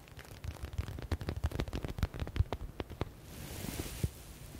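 Fingertips and nails tap rapidly on a yellow stitched smiley stress ball with a faux (synthetic) leather cover, making quick, dull, low thuds with crisp clicking tops. Near the end the tapping gives way to a steady, bright, hissy rustle, with one last tap just after.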